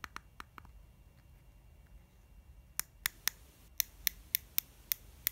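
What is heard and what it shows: Long nails tap and scratch the face of a lilac soft plastic cream tube held in the hands. A few quick, soft clicks are followed by a quiet pause of faint rustling, then a run of sharper, brighter taps, twelve hits in all. Each one is short and dry, with almost no ring and mostly high, crisp sound.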